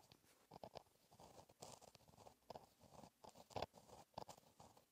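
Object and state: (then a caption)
Pen writing on a paper page. A gel pen tip scratches across a flat black lined paper notebook page while writing cursive. Quiet, dry scratching strokes come in short irregular bursts, with a papery crunch centered in the mid-range and faint bright edges.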